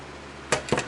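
A homemade loaf from a bread machine is tapped three times while it cools, giving short, dull, hollow knocks with a mid-range tone that die away almost at once. The hollow sound is the desired sign that the bread is baked through.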